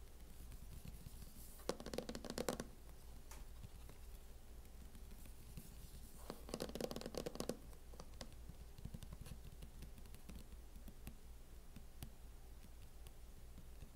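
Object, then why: Plastic laptop hard-shell case. Fingernails slowly tap and scratch on a closed MacBook fitted with a mint matte plastic hard-shell case. Two short bursts of dry, raspy scratching stand out against scattered soft, clicky taps and a steady low hum.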